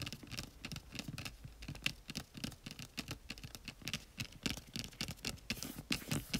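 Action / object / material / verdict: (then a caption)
tap / small printed cardboard box / cardboard / none. Fingertips and medium-length nails tap and scratch across the front face of a small, hollow, flat white printed cardboard retail box for a pink LG Chocolate phone, held upright in both hands. The result is a quiet, rapid, uneven patter of dry taps and bright scratchy rasps, each dying away at once with no ring. A soft hollow thump sits under the sharper clicks.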